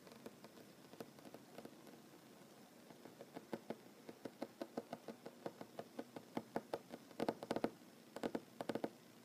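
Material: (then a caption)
Wood. Short fingernail tips of one hand drum on a solid wooden tabletop while the other hand rests on the table. Quiet, dry, short taps come sparsely at first, then grow steadier and louder, ending in quick rolling bursts, with a mid-low woody tone and almost no ring.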